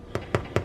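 Three short, hollow, low thuds as the golden-brown bottom of a finished sourdough loaf is tapped. The hollow sound shows the loaf is baked through and done.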